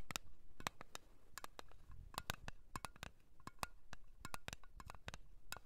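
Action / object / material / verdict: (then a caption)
tap / small round metal cream tin / thin metal / none. Long nails tap and scratch the lid and rim of a small, round, blue metal Nivea cream tin held in the hand. The result is a quick, irregular run of sharp, dry clicks with a faint metallic ping near 1.1 kHz and bright edges, each dying away almost at once, with soft scratchy rustle between taps.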